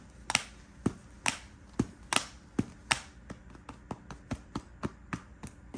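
Fingertips and nails tap and scratch the quilted front panel of a medium-size, hollow, light pink quilted faux leather Guess handbag with metal chain straps, lying on a bed. The result is a steady series of sharp, bright taps with quick, dry decays and faint scratchy texture between them, over a quiet background.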